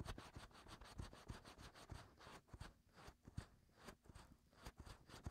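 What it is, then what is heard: Silicone ear molds being scratched. Fingertips and short nails scratch and rub inside the ear canals of two white, soft silicone ear-shaped molds on a 3Dio binaural microphone, which is also doing the recording. A dense run of close, low, thumping scrapes and rubs is heard, with bright, crackly scratching over it, shifting in loudness from moment to moment.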